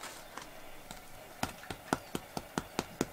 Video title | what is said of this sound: Narrowboat tour and no knead bread recipe. | give it another little tap that sounds a lot better